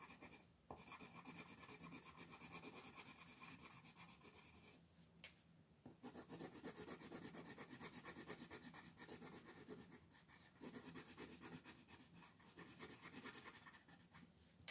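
A pink colored pencil held in the fingers shades a flat white paper mandala coloring page lying on a table, rubbing it in short back-and-forth strokes. The result is a steady, bright, papery scratching with a fast rhythm, broken by brief pauses around the first second, near the fifth and sixth seconds, and near the tenth.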